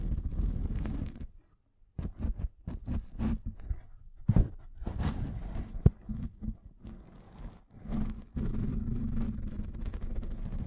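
Fingertips scratch and tap the fabric surface of a long black padded nylon pencil case, soft and hollow, held horizontally in both hands. Steady low, muffled scratching opens the clip, followed by a brief silence and then a run of quick dull taps with one sharper knock near the middle. Continuous scratching returns at the end.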